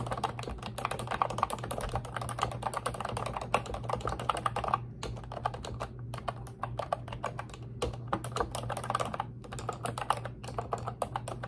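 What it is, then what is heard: Plastic computer keyboard. Long red nails type and tap rapidly on the round keycaps of a pink retro-style Ubotie plastic keyboard with a hollow body. The result is a dense stream of crisp, hollow plastic clicks with brief pauses, over a steady low hum.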